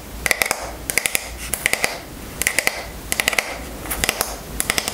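Long nails tap rapidly on the wooden back of a striped wooden paddle hairbrush with wooden pin bristles, and the brush is then turned over. About 24 short, bright, dry clicks come in quick bursts of three to five with a faint hiss between them. Each click dies away almost instantly, with a light ringing tone near 2 kHz.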